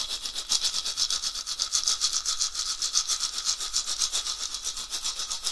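A round, hollow dried gourd rattle with an etched pattern, mounted on a wooden handle, is shaken by hand in rhythmic strokes. Each stroke gives a quick, bright, hissy rattle burst with almost no low end. The bursts come in a steady, fast pulse that keeps going for the whole clip.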